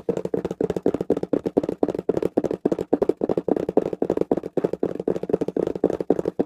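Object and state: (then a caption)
Cardboard box tapped rapidly. A small, closed, taped corrugated cardboard shipping box is held up and tapped rapidly with the fingertips of both hands. About 33 quick, dry, hollow taps roll on in an uneven rhythm, centred in the low mids around 450 Hz. Each tap dies almost instantly with no ring.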